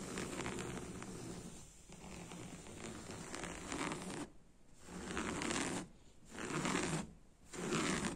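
Fingertips and nails scratch and rub coarse woven beige sofa fabric with a brown spiral print over a padded cushion, making a dry, bright scratching hiss with a soft low rustle underneath. A steady stretch of rubbing gives way to separate strokes broken by short, quiet pauses.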